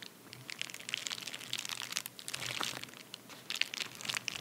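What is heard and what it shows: A medium white padded paper bubble mailer resting on a towel is scratched and pressed with the fingertips and short nails of both hands. It gives off a quiet, continuous stream of bright, crisp crinkling and crunching with scattered sharp clicks and almost no low end.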